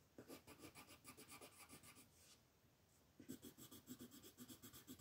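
A pink colored pencil rubs and scratches across a flat white paper mandala sheet while coloring in petals. Quick, rhythmic back-and-forth strokes make a soft, bright scratchy rasp. The strokes pause briefly in the middle and then resume.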